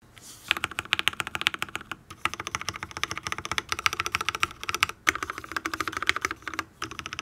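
Fingertips of both hands type rapidly on a full-size custom Matrix mechanical keyboard with an aluminium case, ABS keycaps, lubed Tealios V2 linear switches and no foam, while a second keyboard sits idle nearby. Dense runs of short, bright, crisp clacks with little low end come in bursts, with brief pauses around two, five and nearly seven seconds.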